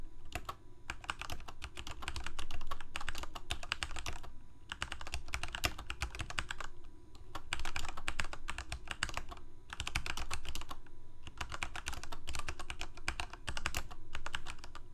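Fingertips of both hands type continuously on a full-size black plastic Corsair K68 gaming keyboard with backlit keycaps, Cherry MX Red switches and a hollow plastic case. Rapid, uneven clacky keystrokes come in dense bursts separated by brief pauses, each click short and crisp with a bright edge, over a steady low hum.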